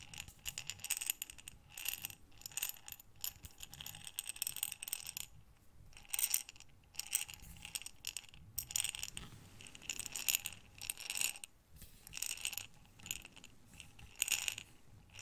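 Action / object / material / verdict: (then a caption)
shake / glass jar filled with buttons / glass / none. A clear glass jar with a metal lid, filled with buttons, is tilted and turned in both hands so the buttons slide and rattle inside. The result is bursts of bright, dense clicking and clattering, with brief quiet pauses between waves of movement.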